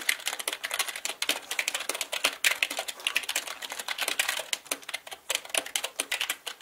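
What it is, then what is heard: Plastic mechanical keyboard. Both hands type quickly with their fingertips on a black mechanical keyboard with plastic keycaps. The result is a rapid, steady stream of bright, crisp plastic clacks with almost no low end, each keystroke dying away almost instantly.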